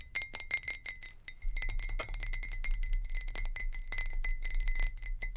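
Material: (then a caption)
Glass. Long nails tap rapidly on a glass jar with a lid, producing a quick, continuous run of bright glassy clinks. Each tap is short with a clear ring near 2 kHz and a high shimmer above it, over a steady low rumble.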